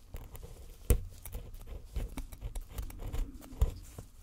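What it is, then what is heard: Gold-painted plaster bar being chipped. A thin metal pick scrapes and chips into a solid gold-painted plaster bar resting on a black base set on a towel, breaking off crumbly white plaster. Quiet, irregular scratchy taps and small crunches patter throughout, with a couple of sharper clicks standing out, each dying away almost at once.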